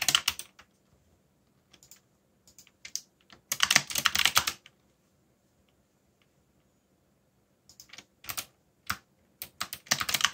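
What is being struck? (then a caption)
Plastic mechanical keyboard keys. Fingertips type in a steady rhythm on a backlit black mechanical keyboard with plastic keycaps, tapping the keys down. Bright, short clacks come in quick bursts with brief quiet gaps between them, and the densest flurries fall near the start, middle and end.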